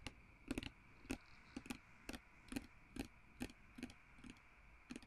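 Fingertips and nails tap and scratch the glass surface and label of a small, partly full, blue-filled glass perfume bottle with a glass stopper, held in both hands. About 13 soft, dry, irregularly spaced clicks sound, each with a bright edge and a low glassy body around 270 Hz. Each dies away almost instantly over a faint steady hiss.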